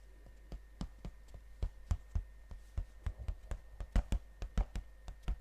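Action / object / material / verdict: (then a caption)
tap / cardboard box / cardboard / none. Fingernails tap and scratch the glossy printed surface of a gold cardboard chocolate box held upright. About twenty short, dry ticks fall at an uneven pace, with faint scratching between them and a quiet steady tone underneath.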